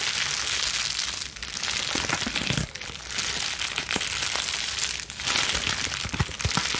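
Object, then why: Plastic bubble wrap sheet. A plastic bubble wrap sheet is crushed in clenched fists, then squeezed into a ball and scrunched, with scratching from long nails. It makes a steady, dense stream of bright crinkling, crackling and popping, with short quieter dips as the grip shifts.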